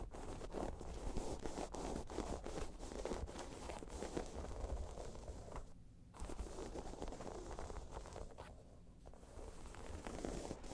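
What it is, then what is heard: Faux leather bag being scratched. Fingernails scratch across a round, tan, crocodile-embossed faux leather bag, making a dense, rough scraping texture with a heavy low rumble. The scratching runs steadily, with brief quieter lulls around the six- and nine-second marks.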